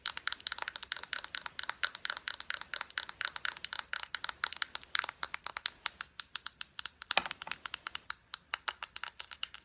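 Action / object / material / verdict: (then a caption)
tap / plastic lotion squeeze tube / plastic / none. Long painted nails rapidly tap and scratch a small, hollow, partly full plastic squeeze tube of Pacifica vanilla lotion and its white cap. About sixty crisp, dry clicks and scrapes sound in quick succession, bright and high with no low end and almost no ring.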